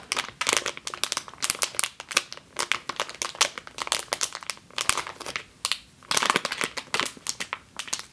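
A medium clear plastic bag with a yellow label, full of flour or grain, is squeezed by long green nails, then lifted at the end. It gives a rapid, bright, dry crinkling in dense bursts with very little low end, pausing briefly just before the final stretch of crinkles.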